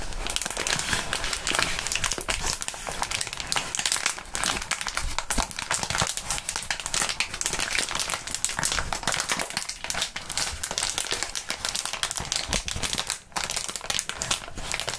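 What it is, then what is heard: Plastic bubble wrap being crumpled. A crumpled wad of light, air-filled clear plastic bubble wrap is squeezed and crumpled by both hands in fingerless gloves, held in front of the microphones. Dense, continuous crinkling and crackling fills the clip, bright and hissy with little low end, easing briefly near the 13-second mark before resuming.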